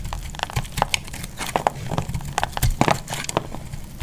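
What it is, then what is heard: Bar soap being shaved. A utility knife blade shaves a solid, partly carved orange bar of soap held in the hand. Short, crisp crackles and scraping crunches come in a rapid, irregular string, with dull low thuds under brighter snaps, each ending almost at once.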